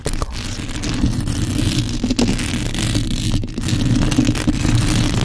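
Long acrylic nails scratch the bare, hollow metal mesh grille of a black condenser microphone while fingers grip it. A steady, dense low rumble of handling noise fills the clip, with fast, bright scratching layered on top and a few sharper scrapes standing out.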